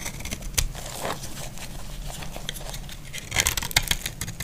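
A utility blade shaves and scrapes the surface of a solid, dry pink bar of soap. It makes crisp, bright scraping and crackling flakes over a steady low rumble. A denser burst of sharper scrapes comes near the end.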